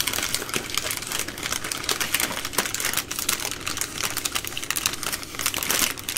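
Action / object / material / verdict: scrape / plastic-wrapped baby wipes packs / soft plastic / none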